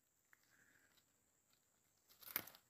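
A fresh fern shoot is snapped off by hand. A few faint ticks and soft rustling lead into a short, bright, crunchy snap at the end. The crisp sound marks the shoot as fresh, good and tasty.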